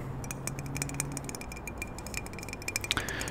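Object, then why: Metal aerosol can. A small blue and yellow metal WD-40 aerosol can, held in one hand close to the microphone, is tapped with the fingernails of the other hand. A rapid series of light, clicky ticks with a short metallic ring around 2.4 kHz plays over a faint low hum, with a few sharper taps near the end.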